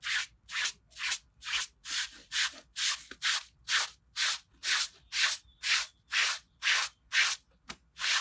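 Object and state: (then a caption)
Wet pile rug being scrubbed. A gloved hand scrubs a small, wet red fabric pile rug lying on concrete with a green plastic bristle brush. About 19 steady, regularly paced strokes each make a bright, hissing scratch-rub that swells and fades, with short quiet gaps in between.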